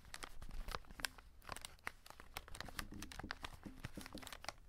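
Fingertips and short nails scratch and crinkle a full cardboard chocolate box and its plastic window, up close. The result is a quiet, dense run of sharp, bright crinkles and scratchy clicks with almost no ring, over a soft low rumble.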